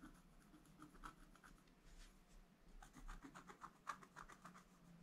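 A wooden stylus scratches fine lines into the black coating of a flat scratch art paper sheet in a book. Quiet, dry scratching strokes come in short bursts that center around 1.2 kHz with brief brighter edges, over a faint low hum.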